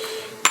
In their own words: You can hear that silver though.